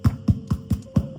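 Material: Bread.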